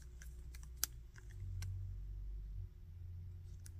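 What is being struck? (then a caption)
Hard plastic action figure. A small hard-plastic Bardock action figure is held in both hands while fingertips rotate its arms and handle its body. It gives short, sharp, bright clicks from its joints, with one louder snap standing out. A steady low hum runs underneath throughout.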